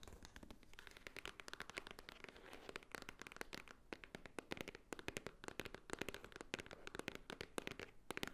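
Long nails tap rapidly on the top edge and front of a small, hollow white Swarovski cardboard jewelry box. The result is a dense, quiet stream of quick, dry, crisp clicks with a bright edge and a hollow body, each tap dying out almost instantly with no ring.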